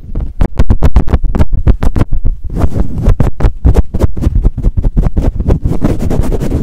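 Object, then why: Foam microphone windscreen. Fingertips cup, squeeze and swirl a soft, hollow black foam windscreen fitted over a microphone, pumping it on and off the mic fast. The result is a loud, rapid series of deep, muffled thumps and rubbing whooshes, with bass that dominates and a short ring. The pulses are distinct at first, then blur into a denser, continuous scrubbing rumble toward the end.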